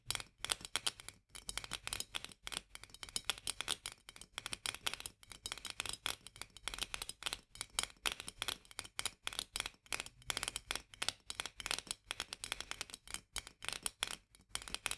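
Long fingernails tap rapidly on the edge of the metal lid of a full glass jar of mandarin marmalade held in both hands. The result is a dense, quiet stream of bright, dry clicks that stop almost instantly, with very little low end.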